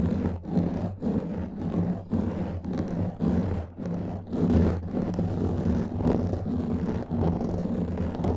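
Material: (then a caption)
Foam. Long nails of both hands scratch a black foam microphone windscreen, producing a dense, rumbling, roar-like scratching with its energy mostly low and little high content. The strokes come in uneven bursts, swelling and dipping about once a second.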